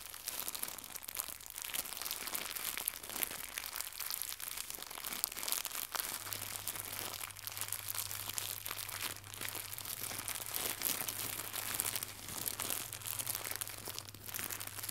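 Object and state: Plastic packaging film.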